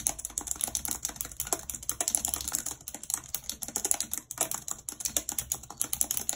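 Long red nails tap the keys of a white plastic computer keyboard in continuous, rapid typing. Each stroke is a sharp, bright click with almost no ring, closely spaced in an uneven, steady stream.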